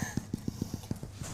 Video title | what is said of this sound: National Cooking Programme: Cook for Victory Day 3 - Homemade Bread Rolls & Fillings | That hollow sound is what you're looking for.